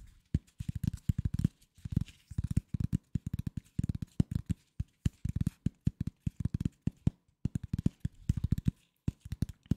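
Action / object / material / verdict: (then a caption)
tap / corrugated cardboard sheet / cardboard / none. A flat piece of corrugated cardboard, held in both hands, is scratched and tapped with the fingers. It produces rapid bursts of dull, low, muffled taps with short pauses between the runs. Each tap dies away almost instantly.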